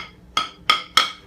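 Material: Granite.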